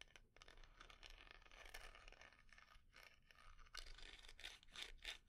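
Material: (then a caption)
Wood. Long nails scratch and tap the carved inlaid lid and sides of a small, round, dark-red wooden jar, which is hollow and closed. The result is a quiet, continuous dry scraping with a bright, crackly texture, broken by short, sharp taps that die away almost at once.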